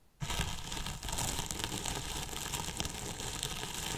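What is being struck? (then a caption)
Polyethylene foam box. Two thin paintbrushes scratch and brush the top of a large white hollow polyethylene foam box with a microphone inside. After a brief silence, a dense, steady crackling scrape fills the clip, with bright hiss layered over a hollow low rumble from the box.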